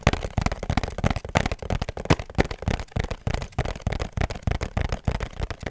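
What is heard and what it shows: Fingertips and nails tap rapidly on a small, hollow pink cardboard perfume box with a black ribbon, held close. The taps are dull and hollow, mostly low in tone with a little bright edge. They fall in a quick, irregular rhythm, each dying away almost instantly.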